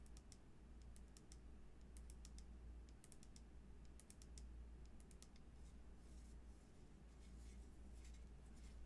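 Long nails tap and scratch along the side of a frosted plastic cosmetic bottle with a black cap, held in the hands and appearing full of green liquid. Quick, bright clicks and faint scratches sound in loose clusters over a steady low hum, all at a quiet level.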